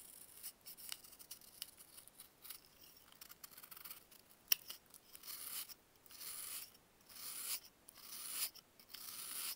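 A box-cutter blade slices through a solid dried baking soda block, cutting it into slabs. Quiet, bright, crumbly scraping strokes come in bursts with almost no low end, broken by one sharp click partway through. The later cuts become longer, steadier grinding passes.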